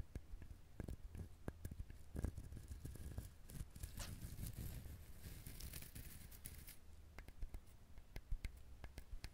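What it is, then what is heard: Coconut shell tapped and scratched. A coconut shell is handled, tapped and scratched, giving sharp, quick taps over a low, rumbling scratching that thickens in the middle with bright, hissy rasps. Scattered clicks and taps return toward the end, and the scratching comes across as more pleasing than the tapping.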